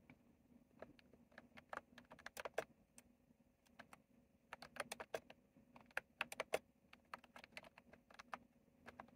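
Fingertips type continuously on a retro plastic mechanical keyboard with round plastic keycaps. Quick, bright, clicky keystrokes come in irregular bursts with short pauses, each click dying away almost instantly over a faint steady hum.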